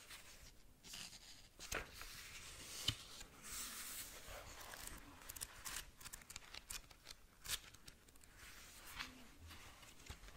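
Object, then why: Paperback book with paper pages. A small paperback manga has its pages scratched by long nails and riffled through. The result is a quiet, bright, papery scratching and rustling with short crisp flicks and page snaps.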